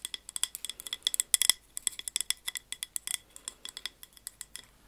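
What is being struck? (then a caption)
Wax-filled glass candle jar. Long acrylic nails tap rapidly on the sides of a large amber glass three-wick candle jar filled with wax, with a paper label, held in both hands. About thirty quick, bright glassy clicks sound with almost no ring, some in fast bursts.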